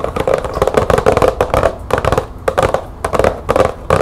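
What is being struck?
Cardboard light bulb box.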